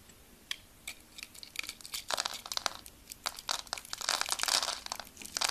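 A solid white bar of soap, held in the hand with its surface pre-scored in a diamond grid, is scraped with a utility blade that shaves off small cubes. Dry, crisp crumbling and crunching scrapes come in uneven bursts, bright and high with almost no low end. The cubes crumble off the bar.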